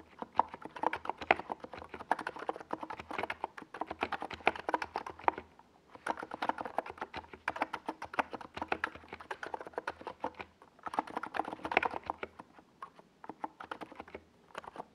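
A compact 68-key NiZ Plum Atom 68 plastic mechanical keyboard with a white plastic case and purple and yellow Domikey Gas Attack SA plastic keycaps sits on a desk pad while the fingertips of both hands type fast across the keys. The result is dense bursts of short, clacky keystrokes with a mid-range tone and quick decay, broken by brief pauses near 6 and 11 seconds.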